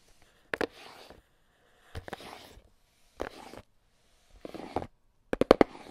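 A small, hollow red and black cardboard box is tapped with AA battery tips worn on the fingers. Five short bursts of quick, dry clicking taps ring out, each trailing into a soft scratchy rustle, with the final burst the sharpest and loudest.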